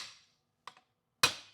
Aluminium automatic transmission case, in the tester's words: get that solid sound when it's seated